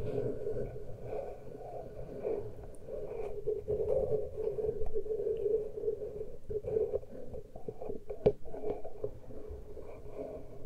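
Fingernails scratch and fingertips rub both bare metal-grille microphone capsules on a Tascam recorder, with no cover fitted. The result is a steady, dense scratching and rubbing texture, heavy in low rumble with a strong midrange band around 400–500 Hz. A single sharper tap stands out near the 8-second mark.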